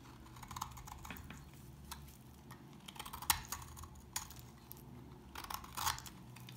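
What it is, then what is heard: Dry household soap bar. A blade carves into a dry, solid tan household soap bar, peeling off crumbly shavings. Soft, irregular crisp scrapes and clicks come through over a low steady hum, with a few sharper, brighter cuts standing out.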